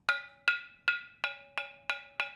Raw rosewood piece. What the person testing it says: sounds like metal yeah extremely dense